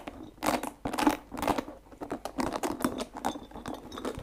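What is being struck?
Rubber spiky massage ball.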